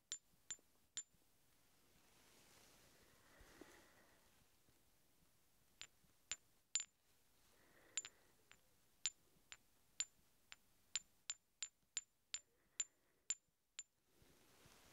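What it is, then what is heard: Steel hex bolts tapped together. Two large solid steel hex bolts, held upright in both hands, are tapped against each other in 19 sharp metallic clinks. There are three quick taps, a pause, and then a steady run of the rest. Each clink is a very short, high, bright ping with almost no low end, over faint background hiss.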